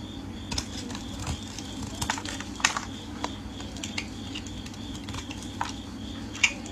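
A metal utility blade scrapes and shaves flakes from the face of a solid, hand-sized white round soap bar with a pink rim, held in hands wearing pink finger cots. The sound is a series of short, crisp, bright scratching strokes at irregular intervals over a faint, steady background hum, with a few louder scrapes standing out.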